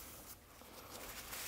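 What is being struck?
Nothing is struck.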